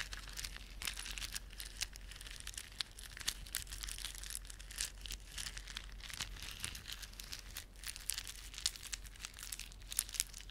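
Fingertips rub a plastic beaded ornament, producing rapid, bright clicking and crinkling that runs continuously for the whole clip. Sharp clicks stand out above the dense crinkle, over a faint, steady low hum.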